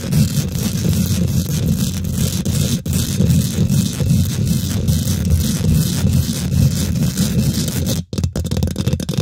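Long nails and fingertips of both hands quickly scratch and tap the domed, hollow woven metal mesh grille of a large silver condenser microphone. The result is a dense, continuous, bass-heavy rumbling scrape with crackly texture, dropping out briefly near 3 seconds and again just after 8 seconds.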